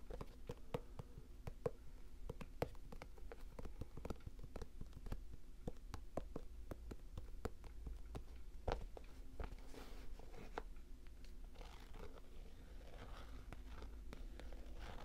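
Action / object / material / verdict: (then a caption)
tap / canvas sneaker with gum rubber sole / canvas, rubber / none. Fingers scratch and tap the canvas upper and gum rubber sole of an empty cream canvas low-top Nike SB sneaker with a blue swoosh. Quick, dry taps fall in an irregular stream over soft, muffled scratching, all quiet and weighted toward low tones. Each tap dies away almost instantly.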